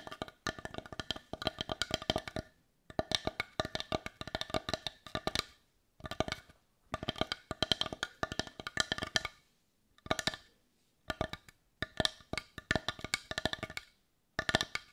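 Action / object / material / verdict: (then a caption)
tap / small wooden bowl / wood / none. Long nails tap rapidly on the rounded back of a hollow, hand-sized, heart-shaped dark brown wooden bowl. The taps come in quick bursts of short, dry clicks separated by brief pauses. Each click has a bright, hollow knock centred around 3.2 kHz with almost no ring.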